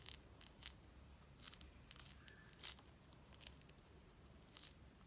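A small whole mandarin orange with a thin yellow-orange peel is held in the hands and peeled with the fingertips and nails, the peel tearing away from the white pith in strips. Quiet, crisp, bright tearing and crackling bursts come in irregular clusters over a faint low hum.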